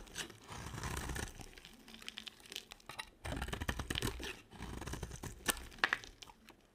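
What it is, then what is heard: Dry soap bar being carved. A box cutter carves a solid white dry soap bar held in the hand, shaving and scraping off flakes. Dry, crunchy scraping and crackling strokes come in bursts with brief pauses between them, ending with a few sharp, bright clicks and lighter scrapes.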